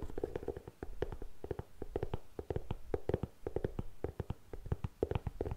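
Long nails scratch and tap across the upper and the treaded rubber sole of a grey faux suede ankle boot. The result is a quick, uneven run of short, dry scratches and dull taps, mostly low and soft, with brief muffled pauses between bursts.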